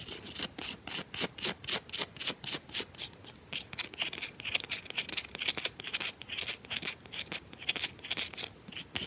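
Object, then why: Solid bar of soap scratched with fingernails. Long nails scratch and tap a round, solid bar of soap with a grooved, scratched surface, fast and aggressively. The result is a rapid, steady run of short, dry, bright scratching bursts with almost no low end and no ringing.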